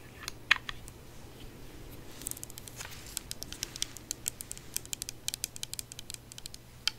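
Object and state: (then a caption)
Glass perfume bottle tapped with nails. Long nails tap a handheld, rectangular green glass perfume bottle that appears filled and has a metal cap. Quick, light, sharp clicky taps come in irregular bursts, with a faint steady low hum underneath. The taps stop dead with no ring.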